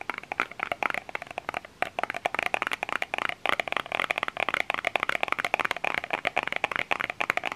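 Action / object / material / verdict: tap / small plastic lotion bottle / plastic / none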